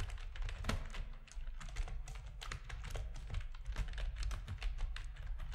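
Fingertips of both hands type steadily on a full-size black plastic RGB-backlit keyboard resting on a desk, its hollow plastic housing adding a deep, hollow thud beneath each press. The result is a dense, fast run of short clacking key taps with brief bright clicks on top, overlapping so closely that the sound stays continuous for the whole stretch.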